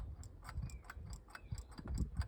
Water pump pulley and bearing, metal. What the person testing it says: The play on that. Hear that? That's what's knocking on the car.